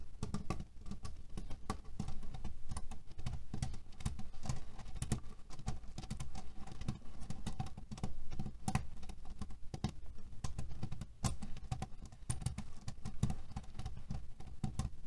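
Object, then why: Cotton pillow filled with cherry pits. Fingernails rapidly scratch and tap a cotton cushion filled with cherry pits, making the pits click and rattle against each other. A dense, steady patter of short, dry clicks runs without pause for about fifteen seconds, heavy in the low end with brief bright ticks on top.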